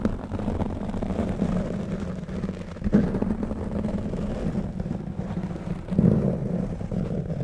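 Fingertips of both hands continuously scratch and rub a black foam microphone windscreen. The result is a dense, muffled, low rumbling rustle with a steady hum-like band and no bright content, with slightly louder swells near three and six seconds.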